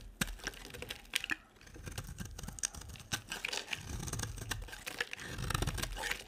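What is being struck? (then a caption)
Dry bar soap cut with a knife blade. A utility knife blade carves and scrapes a solid, hand-sized beige dry soap bar with an embossed logo. The result is a steady run of crisp, dry scraping and crunching, punctuated by sharp, bright cracks as flakes break away. There is also a soft low rumble beneath the strokes.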